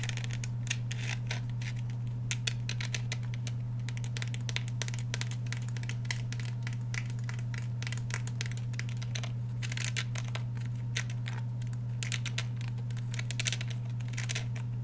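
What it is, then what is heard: Polymer and steel handgun. A black Glock 17 handgun with a polymer frame and steel slide, held horizontally in both hands, has its surfaces tapped and scratched by fingernails. Dense, quick, bright clicks and scratches run throughout over a steady low hum.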